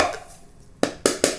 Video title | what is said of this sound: MY NEW GUITAR! Jackson Soloist SL7 unboxing and first impressions | sounds like plastic back plate covers